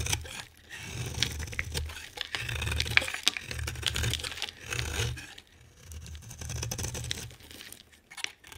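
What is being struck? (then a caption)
Bar of soap scraped with a blade. A hand-sized solid green bar of soap with a white outer layer is scraped into flakes with a utility knife blade. Bursts of dry, crumbly scraping and crunching repeat in quick, uneven strokes, carrying a bright, crackly hiss over a soft low rumble.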